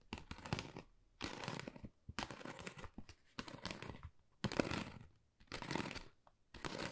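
Long nails tap and scratch across a thin, hollow, flat pale pink pebble-textured cardboard Dior folder. The result is dry, crinkly scratching and light tapping that comes in short bursts separated by brief quiet pauses, bright and papery with a soft low thud underneath.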